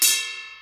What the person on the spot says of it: that's a ringing sound. It's thinner, just like that.